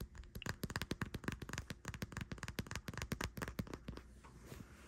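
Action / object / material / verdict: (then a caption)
tap / soft plastic squeeze tube of body cream / soft plastic / none. A full pink Bodycology "pink vanilla wish" soft plastic squeeze tube of body cream, lying on a bed sheet, is tapped and scratched with long white-painted nails. Rapid, quick-dying taps give short, dull, low-heavy thuds with bright clicky edges, and the clip ends with softer, steadier scratching.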